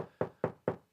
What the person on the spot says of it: bright sound if I was knocking on my other walls in my studio the frequencies were way lower in the Spectrum